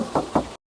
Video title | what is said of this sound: PILIHA CALYA 2021 ATAU SIGRA 2021, KALIAN BEBAS MAU PILIH YANG MANA ❤️ | tuh masih kedengaran banget kalengnya